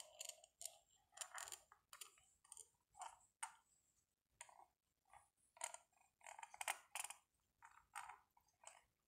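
A small, hollow, rectangular black matte plastic power bank held in a gloved hand is tapped and scratched along its face and edge with the metal tip of a pen-like tool. The result is a quiet, irregular series of dry, bright clicks and short scratchy strokes. They have no low end and die away almost instantly.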